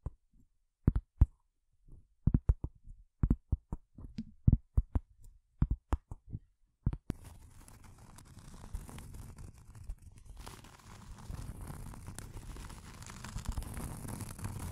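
Long acrylic nails tap on a round, thin, solid cork coaster held behind the microphone, giving a series of short, dull, low thuds for about seven seconds. Then the nails scratch steadily across the cork surface, making a continuous rough, hissy rasp that grows slightly louder toward the end.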